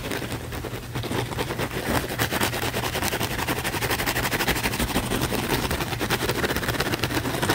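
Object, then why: Foam sponge. A thick, layered, palm-sized blue foam sponge, held in the palm, is scratched rapidly and vigorously with the fingernails. The result is a dense, continuous stream of quick, bright, raspy scratches over a faint steady low hum, growing slightly louder after the first second and holding steady to the end.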